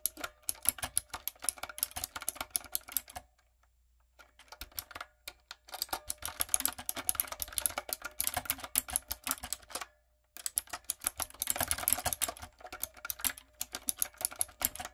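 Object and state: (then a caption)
Mechanical keyboard with plastic keycaps. Fingertips and long coffin nails tap rapidly on a typewriter-style backlit mechanical keyboard with round brown plastic keycaps on a dark frame. The result is bright, dense clicking and clacking in quick bursts, broken by short pauses near 3 seconds and 10 seconds. Each tap is crisp and dies away almost instantly, with very little low end.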